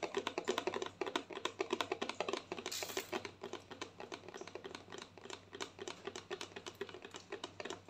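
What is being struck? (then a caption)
Plastic lotion bottle. Long painted nails tap rapidly on a white plastic lotion bottle held tilted. The taps are quick, dry clicks with a hollow tone around 1 kHz, dying out almost at once, and a brief high hiss rises near the middle. The tapping keeps up steadily in an uneven, pattering rhythm.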